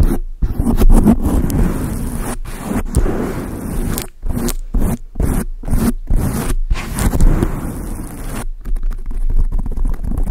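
Long acrylic nails tap and scratch a large dark grey foam windscreen on a microphone. The result is a dense, muffled, low rumbling rustle with almost no bright top end, broken by short silent gaps between bursts of scratching.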